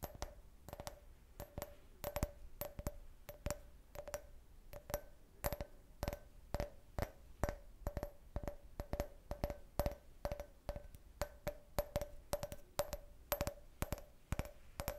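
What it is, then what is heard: Empty can-shaped drinking glass. A clear, hollow, empty can-shaped beer glass is tapped with fingertips and nails on its side and bottom in a long run of quick, uneven taps. Each tap is a short, dry click with a faint glassy ring near 600 Hz and bright ticks from the nails, fading almost instantly.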